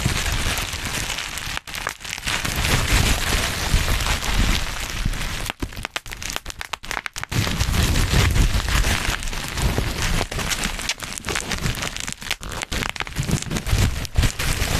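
Black plastic bubble wrap is gathered in both hands above a microphone while fingertips pinch and pop its bubbles. A dense, irregular stream of sharp crackling pops and crinkles rides over a heavy low rumble from the handling, with a few brief quieter gaps.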